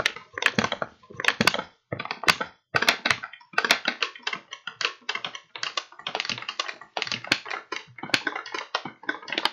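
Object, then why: Kraft paper bag. Fingertips tap and crinkle an empty, hollow kraft paper bag with blue print, then open it and squeeze it by hand. The result is bursts of dry, crisp crackling and rustling with brief pauses between them, bright and papery with almost no low end and no ring after each crinkle.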